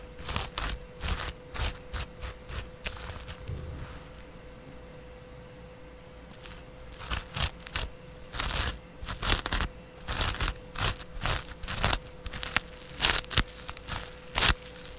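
A small double-edge razor blade, held between the fingertips, scratches the surface of a yellow porous foam kitchen sponge held flat in the palm, leaving crumbs. Bursts of bright, dry scratching and tearing crunches come in quick, uneven strokes, with a quieter pause in the middle. A faint steady hum runs underneath throughout.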